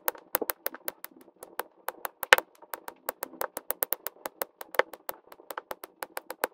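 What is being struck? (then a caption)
Plastic resin drills pressed onto an adhesive canvas with a drill pen. A plastic drill pen tip repeatedly taps blue and pink plastic resin drills into place on a flat adhesive diamond painting canvas, sped up as a time lapse. About 28 quick, dry, bright clicks sound in an uneven rapid series, each very short with almost no ring and no low end.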